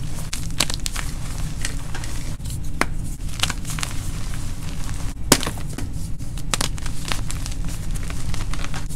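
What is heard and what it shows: Hands break pieces off a white gym chalk block (magnesium carbonate) on an orange-dusted surface and crush them into powder with their fingers. Crisp, gritty crunches and crackles come in quick bursts over a steady low rumble, with one sharper snap near the middle.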